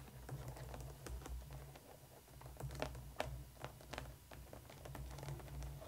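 Long painted nails of both hands tap and scratch a black molded plastic coffin-shaped doll case with a lattice front and pink and yellow plastic compartment doors, lying flat and hollow. Quick, light clicky taps mixed with dry scratching patter, a few sharper taps standing out, all dying away almost instantly over a steady low hum.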